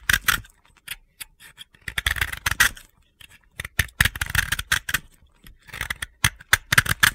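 A utility blade scrapes crumbly chips off the edge of a solid, hand-held, pale blue dry soap disc. The result is a series of crisp, gritty scraping crunches in short bursts with brief pauses between them, bright and dry with no ring.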